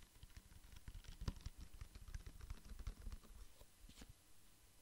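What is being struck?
Plastic pump bottle with liquid.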